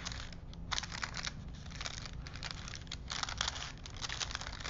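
A thin printed paper film strip is wound by both hands between two wooden dowel spools, the paper rubbing and crinkling. Continuous bright, dry crinkles and rustles come in bursts over a steady low hum.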